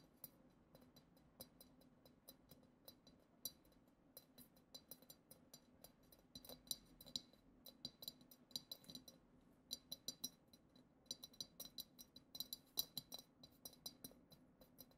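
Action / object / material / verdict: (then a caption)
tap / glass goblet / glass / none. Long acrylic nails tap the lower bowl of a hollow, clear glass goblet decorated with glitter. Quiet, bright, clicky taps come in an irregular stream across the clip, each dying away almost at once with a faint high glassy tint.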